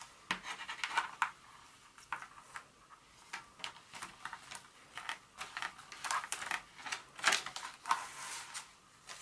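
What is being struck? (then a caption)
Solid dark chocolate bar. Long nails scratch and tap the segmented surface of an unwrapped solid dark chocolate bar lying on its foil and paper wrapper on a carpet. The result is a quick, uneven run of dry, bright scratches and crisp clicks with no low end. Each sound stops almost at once.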